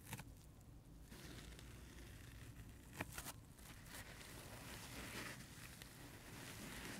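Fingertips scratch and rub a dry, multicolor, heart-shaped porous foam sponge with a white scrub layer while it is held in the hands. A steady, soft, crackly rustling continues throughout, with a few brief sharper scratches standing out, especially near the start and around the three-second mark.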